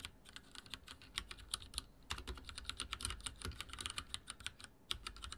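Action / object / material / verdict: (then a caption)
tap / plastic mechanical keyboard / plastic / none. Fingertips of both hands type rapidly on a full-size backlit mechanical keyboard with dark plastic keycaps and linear switches, resting on a wooden desk. A quick, uneven stream of about 35 short, bright clacks rings out, each dying away almost instantly over a soft low thud. The typing pauses briefly near the two-second mark and again just before the end.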